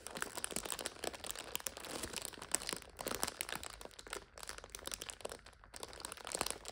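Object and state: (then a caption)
Plastic multipack of instant noodles, crinkled. Fingertips and long nails rub, scratch and crinkle the plastic wrapper of a full multipack of instant noodles standing on its end. The result is a quiet, continuous stream of bright, dry crinkling and crackling with many sharp little snaps and almost no low end, lasting about seven seconds.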